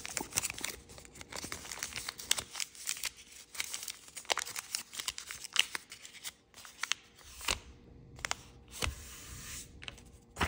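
Thin kaleidoscope-pattern origami paper is creased by fingertips and shaped into a finished crane, with the folds rubbed and pinched. The result is a steady stream of crisp, bright crinkling and rustling, broken by many quick, sharp paper snaps with brief quieter pauses between.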